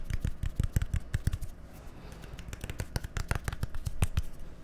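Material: Plastic.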